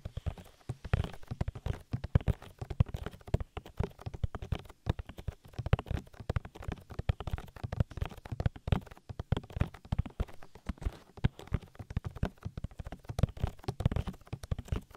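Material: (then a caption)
Silicone. Fingertips rapidly tap the oily silicone ear of a binaural microphone, making a dense, steady stream of short, dull, knock-like thuds. The sound is deep and muffled, with almost no high end, and each tap dies away instantly.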